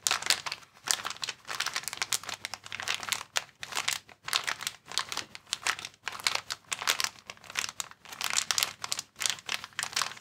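A clear plastic air column cushion bag, air-filled packaging held in both hands, is squeezed and crinkled by the fingers. Dense, bright crinkling comes in irregular bursts with brief pauses between them, crisp and dry with almost no low end.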